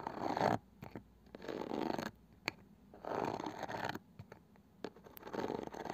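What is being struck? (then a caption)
Small round wooden box with woven cane side band. Long painted fingernails tap and scratch the flat, light wooden lid and edge of a palm-sized round wooden box with a woven cane side band, probably hollow. Bursts of dry, rasping scratches centered around 700 Hz alternate with quiet gaps, and a few sharp, bright taps click out between them.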